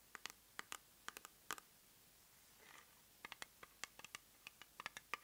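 Long nails tap and scratch a small round plastic cosmetic jar with a white base and lavender lid as it is turned in the hands. About 20 short, bright, dry clicks come in quick clusters, with a soft scratchy rub in the middle and almost no low end or ring.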